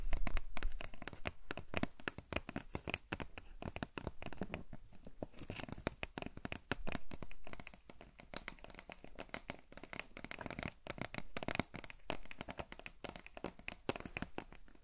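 Long fingernails tap and scratch a tall, hollow cardboard Pringles chip can with a printed label, held in one hand. Rapid, irregular dry taps and scratchy rubbing sound close up, each tap short and dull with a hollow low thump and almost no ring.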